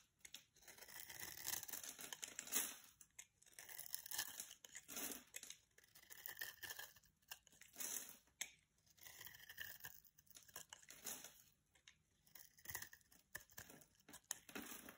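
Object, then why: Bar of soap. A solid purple-and-pink striped bar of soap is held in the hand while a blade cuts through scored squares that crumble off. The result is a series of bright, dry crunching and scraping bursts, with almost no low end.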